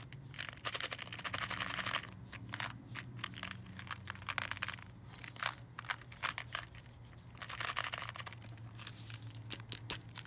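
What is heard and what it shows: A clear plastic tube with a red plastic candy-cane hook, full of red, green and white coated candies, is tapped and scratched with long nails and tilted so the candies move inside. Dense, bright crinkling clicks and scratchy rustles come in quick bursts, with the candies rattling and shifting against the plastic. A faint low hum sits underneath.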